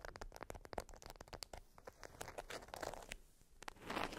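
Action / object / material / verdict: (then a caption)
scrape / beeswax-coated cotton wrap / waxed cotton / none. An orange-print beeswax-coated cotton wrap, folded around a small item resting on fur, is tapped, scratched and crinkled by long nails. Quick, dry taps and sharp crackles come in a dense, uneven run, then a softer, grainy crinkle swells near the end.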